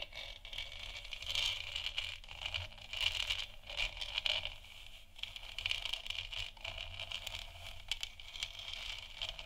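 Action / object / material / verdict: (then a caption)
scrape / textured plastic moon lamp sphere / plastic / none. Long nails scratch across a large, hollow, textured plastic moon lamp sphere. The result is a continuous, dry, bright rasping that swells and fades in uneven strokes, concentrated in a high band around 3 kHz, with little low end.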